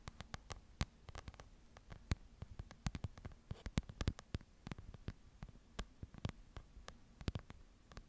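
Long nails scratch the paper pages of a small open paper book held in both hands. A quiet, irregular run of short, dry clicks and scratchy ticks fills the clip, each snapping bright and dying away at once over a low, soft rumble.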